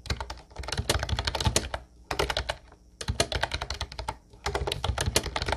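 Both hands type steadily with their fingertips on a mint-blue plastic Ubotie retro typewriter-style keyboard with round white keycaps. Rapid, bright plastic clacks with a low thump run in quick bursts, broken by brief pauses near two, three and four seconds.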